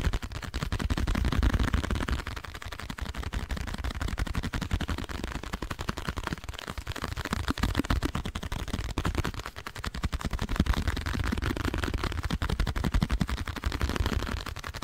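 Long nails rapidly tap and scratch a small, hollow, printed blue cardboard box held in both hands beside the microphone. The result is a dense, continuous stream of quick, dull, low-heavy taps with very short decay and a faint scratchy texture, swelling and easing slightly throughout.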